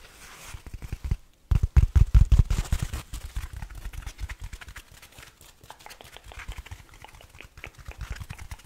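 A small, soft yellow foam kitchen sponge is held in both hands and squeezed, scratched and rubbed with fingertips and nails close to the microphone. After a brief pause, a dense burst of low, muffled crackling and thumping swells, then settles into quieter, rapid, uneven scratching and rustling that continues to the end.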